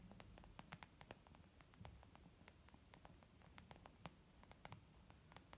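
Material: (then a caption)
Leather. Long almond-shaped nails tap quickly and irregularly on a small white textured leather zip makeup bag lying flat, soft and hollow. Each tap is a quiet, sharp, bright click that dies away almost instantly, heard over a steady low, hissy bed.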